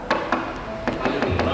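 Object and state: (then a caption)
Wood plastic composite cladding, not real timber. Knocking on decorative wood plastic composite (WPC) facade cladding that looks like real timber gives five short, hollow taps with a dull, plasticky tone, showing it is WPC rather than real wood.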